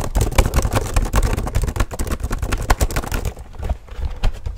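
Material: Plastic.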